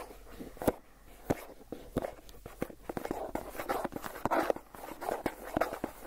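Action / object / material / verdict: scrape / plastic cream cheese tub lid / plastic / none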